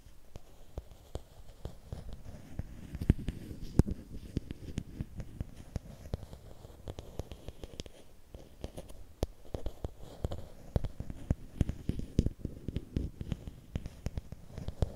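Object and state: Bamboo stick.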